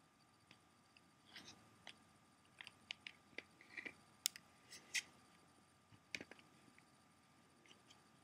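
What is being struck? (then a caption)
Plastic CD jewel case. Fingernails tap and scratch along the front cover and edge of a closed, hollow clear plastic CD jewel case. Quiet, bright clicks and short scratchy rasps come at irregular intervals over a faint steady hiss, each dying away almost instantly.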